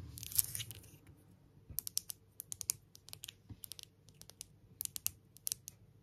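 Long nails tap and scratch all over a palm-sized, solid grey stone pebble engraved "Love," held between both hands. The result is a quiet, uneven series of short, bright clicks and dry scratches with almost no ring, plus a brief rustle at the start.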